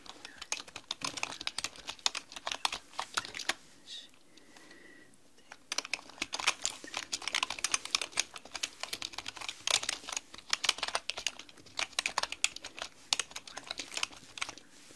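A black mechanical keyboard with plastic keycaps is typed on with both hands using long nails, giving fast, bright, clicky keystrokes with almost no low end. The typing pauses briefly around the four-to-five-second mark, where a faint steady tone is heard, then resumes in dense bursts until the end.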